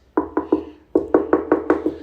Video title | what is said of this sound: Pressure Treated Beams Aren't Perfect - Hidden Damage | watermelon test revealed just a hollow, hollow sound